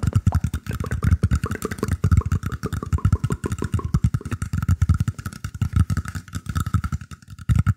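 Fingertips scratch and tap the surface of a round, shallow woven bamboo tray held beside the microphone. Dozens of rapid, dull low thuds run continuously, with a faint steady tone near 1.2 kHz beneath them, and the sound settles briefly before picking up again at the end.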